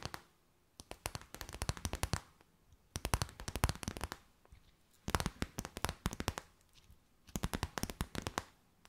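A clear, stiff, empty plastic bag held in both hands is tapped and crinkled with long white nails. Quick, sharp clicks and bright crackles come in four dense bursts separated by short quiet pauses.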